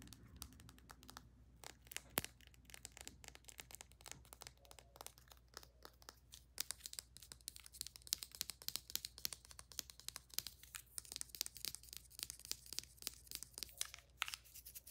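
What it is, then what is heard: Plastic tube tapped and scratched with fingernails. Long nails tap and scratch quickly along a slim plastic cylindrical tube of bath soak and its cap, held horizontally. It makes a dense, rapid stream of quiet, bright clicks and dry scratchy crinkles with almost no low end. Each tap stops dead with no ring.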